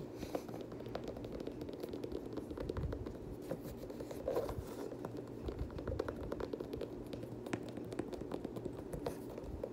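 A black and teal Air Jordan 6, a hollow shoe with a leather and nubuck upper and a translucent rubber sole, is tapped and scratched by fingertips and short nails, and its laces are handled. Quick, dry taps and scratchy scraping run on steadily with a low-mid body and little bright content.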